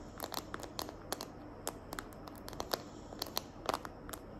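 Long nails tap and scratch the back of a small, hand-held smartphone in a green glitter plastic case. Sharp, bright clicks rise over a steady, faint scratchy hiss, each tap dying away almost instantly.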